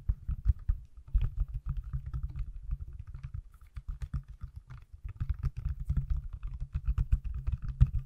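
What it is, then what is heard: Smartphone in silicone case. Fingertips tap quickly on the back of an iPhone in a small, solid, pale yellow/mint silicone case held in the hands. The result is a fast, uneven run of soft, muffled thuds, mostly dull low tones with faint clicky edges and almost no ring, continuing throughout the clip.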